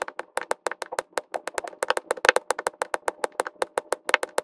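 Plastic resin drills are pressed onto the same section of an adhesive diamond painting canvas by quick taps of a pink drill pen held in the fingers, sped up in time lapse. About 32 short, dry, clicky taps follow in a brisk, slightly uneven rhythm, each bright and crisp with no low end and almost no ring.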